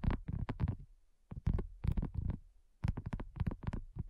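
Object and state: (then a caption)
Silicone coaster. Long nails tap rapidly on a thin, solid, flat round pink dotted silicone coaster. The taps come in three quick bursts separated by short pauses, giving soft, dull, low thuds with almost no ring.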